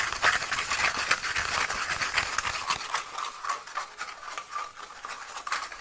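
A small, hollow, empty cardboard toilet paper tube, held in both hands close to the mic, is scratched rapidly with fingernails. The result is a dense, fast, dry, papery rasping with bright, crackly edges and almost no low end. It is loudest at the start and eases slightly toward the end.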